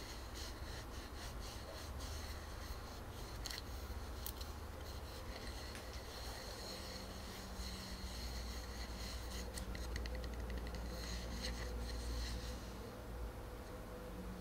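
A palm-sized solid wood tree-trunk slice with growth rings and a bark rim is held flat and upright in both hands while fingertips and nails rub and scratch its cut surface. The result is a quiet, steady stream of dry, bright scratching and rubbing over a low, constant rumble, with faint, irregular ticks from the nails throughout.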